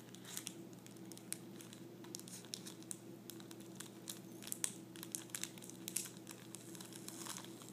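A thin clear plastic sleeve holding folded tissue paper lies flat on a table and is pressed and pinched by fingertips and nails. It gives off quiet, bright, crisp crinkles with scattered sharp ticks over a steady low hum.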